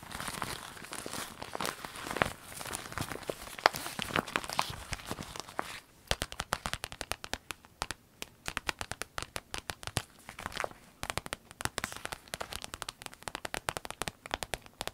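A small, empty clear orange vinyl zip pencil case is squeezed in the hand, then tapped and scratched with long nails while resting on a table. The first six seconds are a dense, bright crinkling. After that come many quick, sharp taps and scratchy clicks that die away almost instantly.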